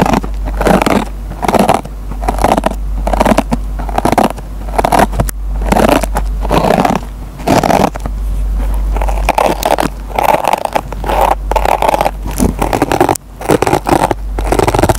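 A metal pen tip scratches and plucks the fibers of a dry kitchen sponge with a green nylon scouring pad, producing dense, rapid scratchy crunching in repeated bursts. A steady low hum runs underneath throughout.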